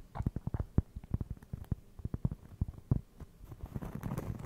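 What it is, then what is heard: Cork trivet. A round, flat, solid cork trivet is held beside the microphone and tapped and scratched with fingertips and short nails. It gives a quick run of soft, dull, low thuds with almost no ring. Toward the end the taps blur into a denser, brushing scratch.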